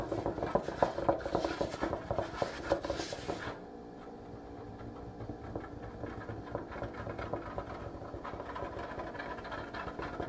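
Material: Wood.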